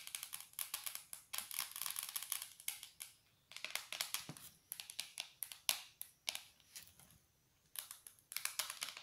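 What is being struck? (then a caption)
Small cardboard cereal box. Long, dark, polished nails tap quickly on a small, hollow Corn Flakes cardboard cereal box held in the hands. The taps are bright, dry clicks with a light crinkly scratch, almost no low end, and a very short ring. They come in dense bursts separated by brief quiet pauses.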